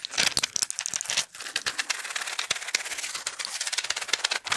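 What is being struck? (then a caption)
Plastic and foil pill blister pack. A small, flat pill blister pack, with plastic bubbles on a foil backing, is held in the hands close to the microphone while fingertips and nails rapidly tap, scratch and crinkle it. The result is a fast, dense run of dry, bright clicks, ticks and crackles with no low end and almost no ring after each touch.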